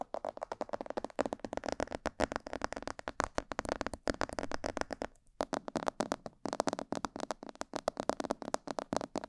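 Fingertips and nails tap rapidly around the ears and sides of a hollow, glossy black plastic mannequin-head microphone. The result is a dense run of short, dry, hollow clicks centered in the mids, with two brief gaps just past the five- and six-second marks.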